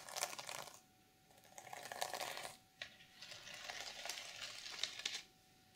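Long purple nails scratch and rub across the plastic sequins of a closed black reversible sequin fabric journal cover. The sound is a bright, crackly rustling that comes in several sustained strokes separated by short quiet gaps, with small clicking ticks scattered through it.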